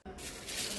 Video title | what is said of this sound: DIY: How to store green chillies for 1 year- Useful for those traveling abroad #travelrecipe | by listening to the sound you can understand how crispy and hard they have become